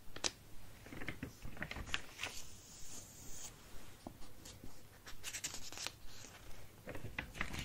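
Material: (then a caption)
Paper. Fingertips trace and rub across the pages of an open paper sketchbook lying flat on a wooden table, with possible page turning. Soft, scratchy paper rubs come in short, irregular strokes with bright edges over a low, steady hum. The result is a quiet, dry rustling with no ring.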